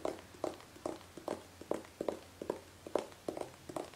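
Long painted fingernails tap a hollow gold metallic aerosol hairspray can with a nozzle, held horizontally. Thirteen short, dry, irregularly spaced taps give bright clicks with a hollow midrange ring that dies away almost at once.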